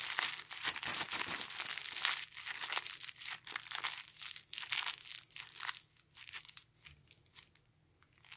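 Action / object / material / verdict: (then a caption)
scrape / thin clear polyethylene bag / polyethylene / none. A thin, empty, clear polyethylene garment bag is scrunched and squeezed into a ball by gloved hands. Dense, bright crinkling bursts crackle in quick, irregular succession, mostly high in tone with almost no low end. The crinkling thins out and grows quieter over the last few seconds.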